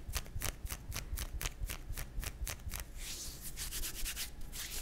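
Fingertips and nails of one hand scratch and rub a pink nylon fishnet arm warmer worn on the other forearm, its thin open net fabric lying over skin. Quick, bright scratchy strokes repeat in a steady rhythm over a low rumble, then turn into a denser, continuous rubbing hiss toward the end.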